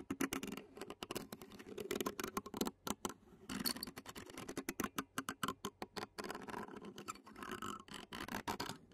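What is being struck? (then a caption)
Metal mesh microphone grille scratched with a plastic fork. Clear plastic fork tines scratch and tap on the black metal mesh grille of a handheld Zoom recorder. Rapid, dry clicking taps mix with scratchy scraping bursts that come in quick runs with brief pauses. The sound is close and midrange-heavy with a bright crackly edge, and each tap dies away almost at once.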